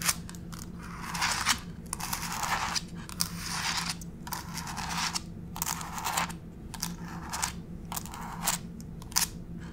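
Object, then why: Laminate floor scratched and tapped with fingernails. Long pink acrylic fake nails tap and scratch across grey wood-grain laminate floor planks, a solid flat surface. Bright, scratchy bursts of scurrying alternate with sharp, short clicky taps at an uneven pace, over a faint steady low hum.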